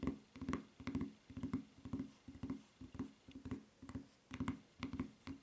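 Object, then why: Rubber flip-flop footbed. Long fingernails tap and scratch the serrated footbed of a white rubber flip-flop near its red strap. About twenty short, soft, dull taps, each with a faint bright click and brief scratch, come roughly twice a second in an uneven rhythm. Each tap dies away almost at once.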